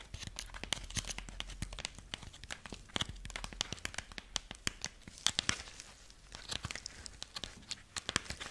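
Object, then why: Corn husk figurine. A dried corn husk rabbit figurine is held in both hands while fingertips and long nails scratch and crinkle its dry husk legs. Dense, bright crackling and tearing-like crinkles come in rapid bursts, with short sharp clicks and a faint low rumble underneath.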